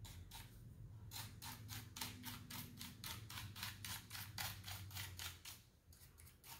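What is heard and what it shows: A small wooden-handled bristle brush sweeps rapidly over and between the keycaps of a full-size black plastic keyboard with a hollow body. It makes a steady run of quick, bright, scratchy strokes, about four per second, over a faint low hum.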